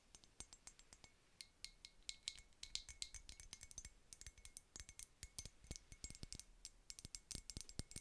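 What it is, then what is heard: Glass perfume bottle. Long nails tap and scratch a small clear glass unicorn-shaped perfume bottle with a metal spray cap, partly filled. The result is a rapid, uneven series of short, bright clicks and clinks, each dying away almost at once. A faint ringing tone near 2 kHz rises under many of the taps.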